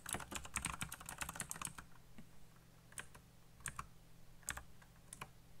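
Fingertips type fast on a backlit plastic mechanical keyboard with black plastic keycaps. A quick burst of sharp, bright clicks with low thocks comes first, then a pause and a few scattered keystrokes over a faint low hum.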